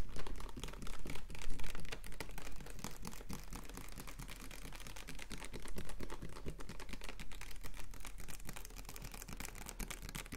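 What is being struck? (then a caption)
Plastic water bottle. Fingernails rapidly tap and scratch the ridged sides of a capped, clear plastic water bottle of about 1.5 L with a blue label, held in both hands. The result is a dense, irregular stream of quick, bright crackling clicks and scrapes over a steady low rumble, slightly louder in the first couple of seconds.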